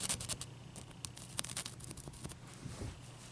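Long nails scratch and tap on a large, clear, solid ice cube resting on a towel. Crisp, bright clicks and ticks stand out over a continuous dry scratching and a soft low rumble, each tap stopping almost at once.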